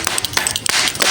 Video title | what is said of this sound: CASING NFON LAMA HANCUR LEBUR WALAUPUN DISIMPAN RAPI 😱💔 | Keras tu. Ketuk sikit. Dia macam kaca.